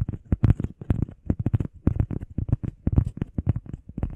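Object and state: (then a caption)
Foam heart pad. Long painted nails and fingertips tap and scratch fast on a flat, solid, hand-sized grey textured EVA foam workout pad shaped like a heart. The result is a quick, irregular run of dull, low, muffled thuds with soft clicky edges, each dying away instantly with no ring.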